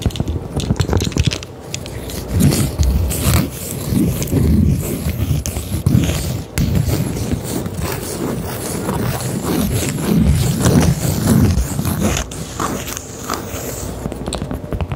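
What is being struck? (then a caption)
Cork coaster. A round, solid cork coaster is held in both hands while long acrylic nails tap and scratch across its surface. The sound is a dull, low, irregular patter of soft taps mixed with rough scraping, with no ringing.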